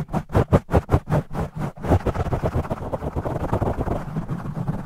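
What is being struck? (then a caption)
Foam microphone windscreen. Fingertips of both hands aggressively scratch and rub a black foam microphone windscreen, with the audio sped up 2x. Deep, muffled scratching swells in fast, rhythmic bursts during the first two seconds, then blurs into a denser, continuous rustling rub.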